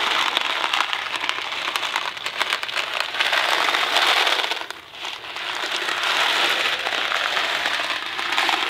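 A small Kraft macaroni and cheese cardboard box filled with dry pasta is held in one hand, tilted and shaken so the pasta rattles inside. The result is a dense, continuous dry rattle and crackle, bright and concentrated above about 500 Hz, with no low end. It dips briefly about halfway through before the shaking resumes.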